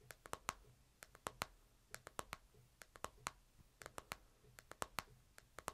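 Fingertips tap the screen and edges of a smartphone in a plastic case, first held flat and then upright. About 26 quiet, sharp, clicky taps come in irregular clusters, each dying away almost instantly, with a bright edge and a light hollow knock under low background hiss.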